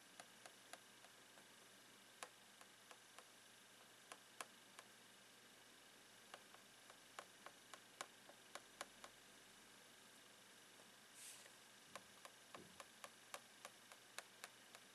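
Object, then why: Thin clear plastic box lid tapped with a plastic pen. A blue plastic pen taps and scratches the lid of a long clear plastic retail box full of rolled socks. About 28 sharp, separate, bright clicks ring out over a quiet hiss, with a brief high scratch near the 11-second mark.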